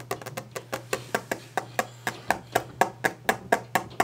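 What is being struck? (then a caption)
Wooden desk. Fast, aggressive hand tapping on a wooden desk produces about twenty short, dry knocks at roughly two per second, with slightly uneven spacing. Each knock has a woody mid-range tone around 760 Hz with a bright click on top, and dies away almost instantly. A faint, steady low hum runs underneath throughout.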